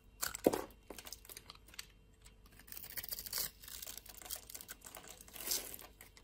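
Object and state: Soap bar scraped into flakes.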